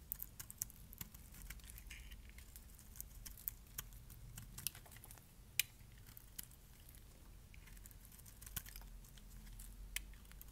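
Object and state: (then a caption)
Dry bar soap being shaved. A metal blade shaves flakes off the face and edges of a solid, dark purple, palm-sized bar of dry soap held in the hand. Quiet, sharp, crisp scraping clicks and bright crackles come at irregular intervals over a low, steady rumble, each one dying away instantly.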